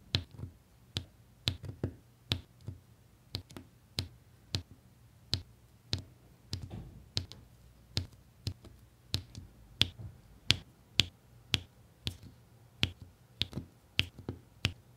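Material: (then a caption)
Resin. A plastic applicator pen repeatedly taps solid resin diamond-painting drills onto the sticky adhesive canvas in a blue and beige area of the same diamond-painting canvas. There are 24 short, crisp clicks, each with a bright tick around 3.4 kHz over a soft low thump. Each click dies away almost instantly, in a steady, quiet rhythm.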